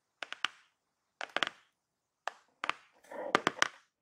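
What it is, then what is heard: Glossy cardboard product box. Fingertips and long painted nails tap the top of a flat, closed, hollow-looking black glossy-printed cardboard box with a blue network pattern, lying inside a shipping box. Short groups of crisp, bright taps with almost no low end are separated by silences, then a brief scratching rasp runs under the last few taps. Each tap dies away almost instantly.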